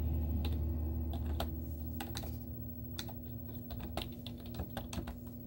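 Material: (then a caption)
Plastic. Long teal-painted nails and fingertips type rapid taps on a white plastic laptop keyboard with cartoon stickers on its hollow keys. The sharp, bright clicks come in an uneven but steady stream over a constant low hum.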